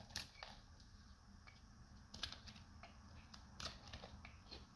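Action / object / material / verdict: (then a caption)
scrape / bar of soap shaved with a knife / soap / none. A solid light blue dried soap bar, held in both hands, is shaved with a metal knife blade so brittle flakes break off. Short, bright, crisp crunching scrapes come in irregular bursts over a low, steady rumble, each crack dying away almost instantly.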